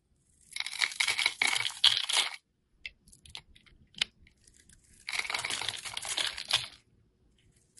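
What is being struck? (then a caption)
Bar of soap shaved with a blade. A snap-off utility knife blade shaves and scrapes curls and flakes off a solid oval bar of yellow soap stamped "AROMATICS" that is held in the hand. Two long bursts of dense, bright, crisp scraping and crackling are heard, with faint scattered ticks and light scrapes in the pause between them.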